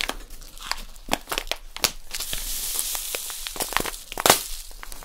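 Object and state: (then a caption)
Plastic packet of poppy seeds. A small, full plastic packet of poppy seeds is crinkled and squeezed between fingers with long nails. It makes a steady, bright crinkling and crackling, broken by sharp snapping bursts as the plastic is pressed. Each burst dies away almost at once.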